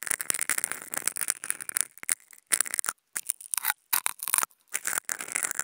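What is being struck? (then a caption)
Non-woven fabric sheet scratched with wooden toothpicks. Two wooden toothpicks held in contact-microphone holders scratch across a flat white non-woven fabric sheet lying on a table. Dry, bright, papery scraping comes in irregular bursts separated by short silences, with a hissy high edge and almost no low end.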